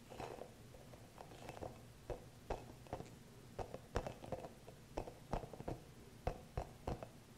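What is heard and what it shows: Fingertips and nails scratch a small green hollow rubber massage ball with soft spikes, held close to the mic. It makes a quiet, uneven series of short, dry scratches and taps over a low, dull rumble, with a muffled, soft tone and almost no ring.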